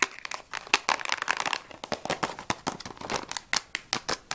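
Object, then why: Small cardboard box of crayons. A small, closed Jaxon 12 crayon box made of printed cardboard, hollow and holding crayons, is tapped and scratched quickly with long nails while it is turned in the hands. Dry, bright clicks and scrapes come in a rapid, dense burst and then settle into sharper, evenly spaced taps, with some crinkling and almost no low end. Each hit dies away almost instantly.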